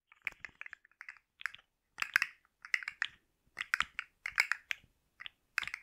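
A hand-sized rainbow plastic slug fidget toy with hollow-jointed segments is held in one hand and tapped and scratched with long manicured nails close to the microphone. Short bursts of dry, rapid clicking and scratching come in clusters with brief silences between them. The sound is bright and crisp, with almost no low end.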